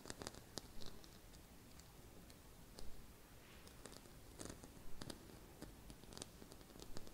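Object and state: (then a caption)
Glitter-covered Christmas bauble. A small round gold glitter-coated Christmas bauble with a gold hanging loop, held on a woven cushion, is scratched and tapped with long red-painted nails. Quiet, irregular scratches and light taps sound as short bright clicks over a soft, low background, with no talking.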